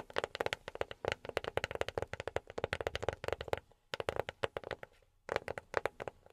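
A box is tapped with silicone rubber pads on the fingertips. Quick runs of soft, dry taps have a mid-pitched knock around 540 Hz and almost no ring, broken by two brief pauses.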